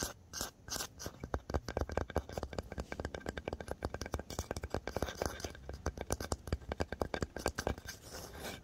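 Fingertips and nails scratch and rub the painted top of a small, solid-looking orange and white fox-shaped box made of painted wood or MDF, lying on a bed. The result is a steady run of quick, dry scratching and tapping strokes with a dull, low-heavy tone and almost no ring.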